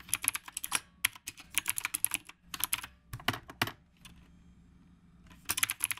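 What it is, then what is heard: Mechanical keyboard with round plastic keycaps. A black retro typewriter-style mechanical keyboard with round plastic keycaps is typed on continuously with the fingertips of both hands. Bursts of sharp, bright clicks and clacks come in quick runs, separated by short pauses. Around the 4-second mark there is a quieter stretch before the fast typing resumes.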